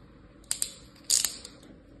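A thin pointed tool that looks like a metal knife is drawn through flat, pressed kinetic sand in a mint-green plastic tray shaped with cookie-cutter outlines, held by a hand with long painted nails. It scratches lines into the surface with about five bright, gritty scrapes, two quick ones followed by a louder, longer cluster. Each scrape is crisp and hissy with almost no low end and fades quickly over a faint background hiss.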